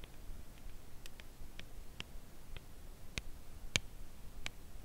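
Long nails slowly tap a slim, full cardboard chocolate bar box held edge-on. Soft, dry, bright clicks are spread out at irregular intervals, each dying away almost at once over a quiet, low background rumble.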